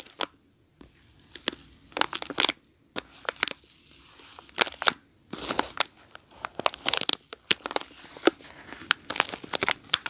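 A soap bar sealed in plastic film wrapping is scratched with long nails while resting on carpet, then picked up and squeezed. Sharp, bright crinkles and scratchy bursts come in quick irregular clusters separated by near-silent pauses. The crinkling grows denser and busier toward the end.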